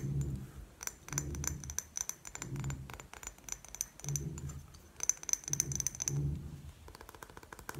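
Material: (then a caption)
Glass. Long painted nails tap rapidly on a rectangular clear glass perfume bottle with a gold cap, partly filled and held sideways. The taps are quick, crisp clicks with a bright, high glassy ping, over soft, low muffled bumps that come and go in bursts. Each tap stops almost at once, with no lingering ring.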